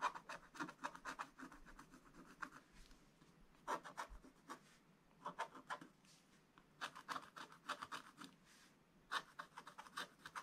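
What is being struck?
Coated scratch-art paper page scratched with a wooden stylus.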